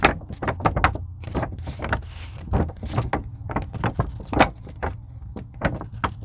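Long pink nails scratch and tap a thin purple-blue craft foam sheet, likely EVA, lying on a table. A quick, irregular series of soft, dull taps with a low thud is mixed with brief bright scratchy strokes. Each sound stops almost instantly, with no ring.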